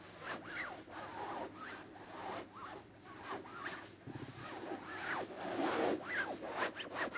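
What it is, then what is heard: Velvet cushion being scratched. Fingertips and short nails scratch and rub the surface of a soft, stuffed, dark red velvet-like throw pillow resting on a white bed. The result is a quiet, continuous stream of soft, breathy rubbing and scratchy strokes, coming a little over twice a second in an uneven rhythm. The strokes have a brushy midrange texture with some bright hiss and almost no low end.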